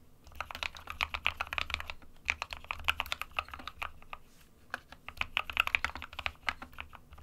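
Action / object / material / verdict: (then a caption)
tap / plastic mechanical keyboard / plastic / none. Fingertips of both hands type continuously on an SK61, a small 60% white plastic-cased mechanical keyboard with plastic keycaps resting on a desk mat. Rapid, bright, clacky keystrokes come in dense bursts with short pauses. Each click is sharp and dies out almost at once.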